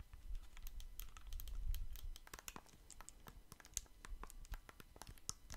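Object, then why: Small plastic handheld game controllers. Fingertips rapidly click and tap the buttons of small, hollow plastic Nintendo Switch Joy-Con controllers, one blue and one red, held in hands close to the microphone. Quick, irregular, bright clicks and taps come in a steady stream over a soft low rumble from handling that is strongest in the first two seconds.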